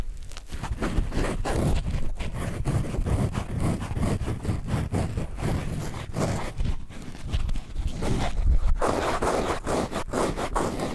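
A hand-sized yellow foam sponge is squeezed, bent and rubbed with the fingertips close to the microphone. It makes a steady run of soft, low, crackly squishes and scrapes with quick, dry bursts and no ring.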